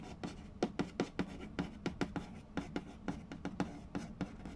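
A fingertip traces the printed text on a hollow Mastermind cardboard board game box, and fingers tap its glossy lid. Soft scratching runs under a quick, uneven series of short, dull taps with a low hollow body that die away almost at once.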